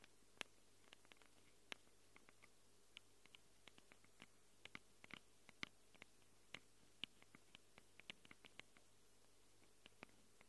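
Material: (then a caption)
Metal. Long acrylic nails scratch and tap the metal mic capsule rings of a small black handheld Tascam recorder. About three dozen quiet, sharp, bright clicks and scrapes land at irregular intervals, each dying away instantly. A faint steady low hum sits underneath throughout.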